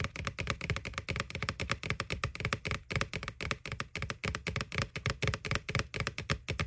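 Long nails tap quickly and unevenly on the side wall of a small, hollow, white plastic ghost-shaped Halloween candy bucket, near its McBoo label. Dozens of dry, clicky taps each carry a low, hollow thump and a bright tick, and each dies away almost at once.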